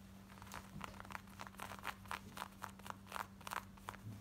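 Long nails rapidly scratch the back waistband, belt loop and pockets of worn, light blue distressed denim shorts. About sixteen quick, dry, raspy scratches rise from a quiet background, each bright and short with almost no ring. A faint steady low hum runs underneath throughout.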